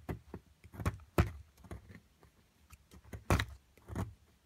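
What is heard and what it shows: A metal chisel scrapes a solid plaster excavation block beside a purple crystal, making about nine short, dull scraping bursts at an uneven pace. The sound is mostly low and gritty, with brief brighter edges on the strongest strokes and quick decay between them.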